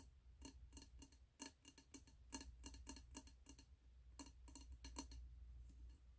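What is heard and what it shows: Fingertips and nails tap the glass side and gold metal lid of a medium wax-filled glass candle jar with a red label, held in the hands. Quick, irregular bright clicks come with a short, low glassy ring. A steady low hum runs underneath.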